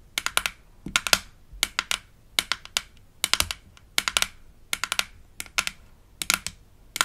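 Long acrylic nails tap and scratch the lid of a hollow, palm-sized, light-blue plastic toy denture case with an embossed smiley, from a Melissa and Doug Super Smile Dentist Kit. About thirty quick, bright plastic clicks come in short bursts with brief pauses between them. Each click is dry and dies almost instantly, with almost no low end.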